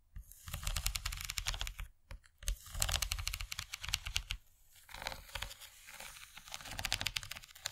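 Long nails scratch and tap across the textured ridges of an empty, rigid yellow plastic corn-shaped serving tray held in one hand. Rapid, bright clicking and scratchy rasping come in bursts with a soft low thud underneath. There are brief pauses near 2 seconds and 4.5 seconds.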